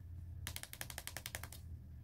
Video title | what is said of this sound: Galaxy Note20 - Three Years Later! Full In-Depth Review - Intellitech Mobile | when you tap on it it makes a different sound